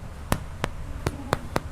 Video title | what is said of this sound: EPISOD 301 PINEAPPLE TWIST BREAD | Bunyi hollow, bunyi kosong. Okey, tu dia masak.